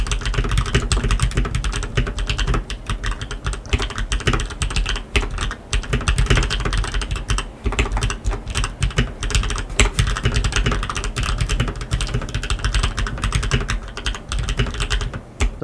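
Two hands type continuously with their fingertips on a black tenkeyless RGB mechanical keyboard fitted with lubed linear switches and plastic keycaps. The result is a steady, rapid stream of short, deep keystrokes with a strong low-end thud, a faint bright clack on top, and almost no ring after each press.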